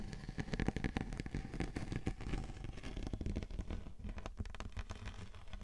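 Long painted nails scratch and tap across the textured surface of a large, flat, round silver glitter-coated cardboard cake board, thin and rigid, resting on top of a 3Dio binaural microphone. The result is a quiet, steady stream of dense, low-heavy crackling scrapes and quick, dry taps.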